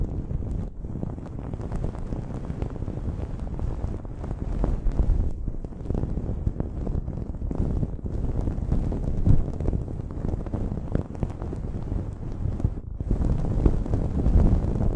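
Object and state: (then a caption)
Cotton terry towel. Long nails scratch the looped fabric of a blue cotton terry cloth towel draped over a microphone. The result is a steady, dense, low rumbling scrape, with brief pauses near 0.7, 5.4 and 12.9 seconds.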